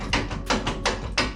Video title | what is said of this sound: HONDA FIT/JAZZ - GK5 - Installing A 42" & 48" Hi-Lift Jack On My Thule Roof Rack #HondaFit4Adventure | that sounds pretty solid it actually worked better than i thought it would